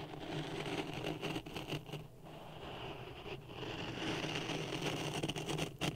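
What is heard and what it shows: A wooden stick stirs dry sand in a clear plastic cup resting on a red microphone. The result is a steady, gritty scraping and rustling with a low rumble and bright grainy hiss, briefly thinning out a couple of times before swelling slightly louder toward the end.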